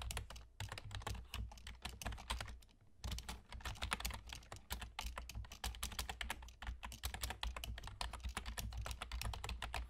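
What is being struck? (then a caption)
Plastic computer keyboard. Fingertips of both hands type rapidly on a black plastic external gaming keyboard with a German layout, including Entf and Pause keys, and hollow key caps. A dense stream of short, bright plastic clicks and clacks runs over a steady low hum, with brief pauses near the start and around the three-second mark.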